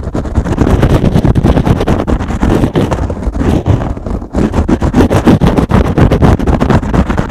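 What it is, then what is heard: Kitchen sponge with scrub pad. A foam kitchen sponge with a green scrub pad is held in one hand and scratched fast with fingernails on both the foam and the scrubber. The result is a dense, rapid stream of rough, crackling scratches, weighted toward low frequencies, with a brief dip just past four seconds before the scratching resumes.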